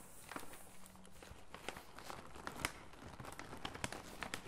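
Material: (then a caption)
Plastic foil. A full red MAKADO snack bag made of plastic and foil laminate is handled and squeezed with gloved fingertips. It gives quiet, irregular crinkling with short bright crackles over a soft low rustle.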